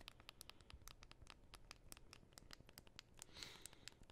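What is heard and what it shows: Fingernails scratch the back of a thin, solid white and gold aluminum iPhone held in both hands. The result is a quiet, rapid series of crisp, bright scratchy ticks over a soft low rumble. A brief high, ringing whine rises near the end.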